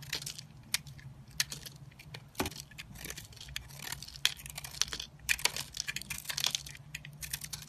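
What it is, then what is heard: Porous soap bar being carved. A small solid pink soap bar with an airy, porous inside, held by fingers with painted nails, is scraped and carved by a metal box-cutter blade that breaks crumbly pieces off it. The result is a run of crisp, bright crackling scrapes and quick snaps, with almost no ring, over a faint low hum.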